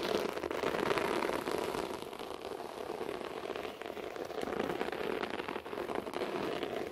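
Both hands rapidly scratch a beige short-pile floor carpet with their fingertips and nails. A dense, continuous scratchy crackle with a mid-range body rolls on steadily with only small dips in level.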